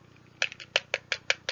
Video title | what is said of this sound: Float or Sink Science; Farming edition | it's got a giant air pocket in the middle. Hear it? Okay, so it's hollow